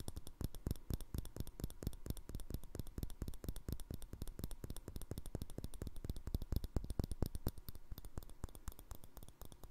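Rapid fingernail tapping and scratching on a small, empty, hollow clear glass jar with a green plastic lid. The result is a dense, uneven stream of short, dry clicks with quick decays and a faint scraping texture, lasting close to ten seconds.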